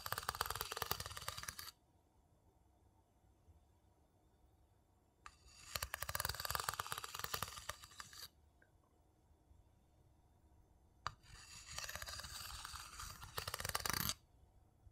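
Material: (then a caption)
Wood. The inside of a small, hollow, empty light-wood bowl is scraped and tapped with a wooden spoon. Three bursts of dry, bright, rapid scratching and clicking are separated by quiet pauses, with a single sharp tap opening the last burst.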